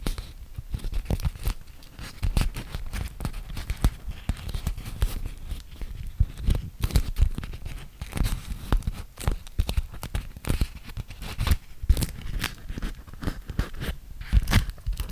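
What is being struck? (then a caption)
Waxed cotton food wrap. A yellow animal-print beeswax-coated cotton food wrap is handled close to the mic as fingertips and nails pinch, fold and crinkle the sticky fabric. Dense, continuous crinkles, sharp crackles and scratchy, tearing-like peels sound over a heavy low-end rumble of handling, with short, dry bursts and no ringing.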